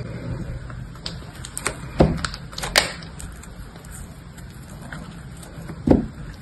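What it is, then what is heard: Dry bar soap being cut. A metal utility-knife blade cuts a solid, blue-coated rectangular block of dried bar soap held in the hand, breaking it into crumbly pieces. Short, sharp crackling snaps and scrapes stand out over a low background rumble, with the loudest cracks coming around two seconds, near three seconds, and just before six seconds.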